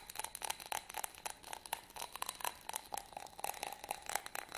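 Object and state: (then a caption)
Glass candle holder scratched. A small, hollow, empty yellow glass votive candle holder with a textured surface is held in both hands and scratched and rubbed with fingernails. The result is a quick, irregular run of dry, crisp scratches and clicks with a faint glassy tone around 820 Hz and bright high hiss, each sound stopping almost at once.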